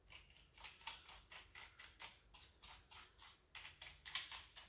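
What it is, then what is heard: Plastic computer keyboard. Fingertips and nails rub, press and scratch the keycaps of a full-size black plastic keyboard with a hollow body. About eighteen soft, quick brushing strokes follow one another in a steady rhythm, each a bright, airy scrape that fades almost at once. The whole clip is quiet, with a faint low hum underneath.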